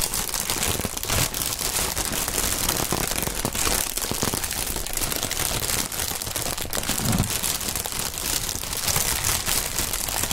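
Gloved fingers squeeze and crumple clear plastic air cushion packaging film with green print and air-filled cells, possibly popping some of the cells. A dense, continuous crinkling and crackling with bright, sharp snaps holds a steady level for about ten seconds.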